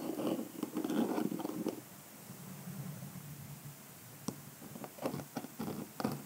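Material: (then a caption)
Rhinestones. A pink calendar block is rubbed and scratched across the rhinestone brooch of a small, hollow, egg-shaped hard-shell clutch purse with a cream shimmery covering. A dense, gritty scratching opens the clip, then eases into a softer, lower rubbing. It ends with several sharp, brief clicks and ticks.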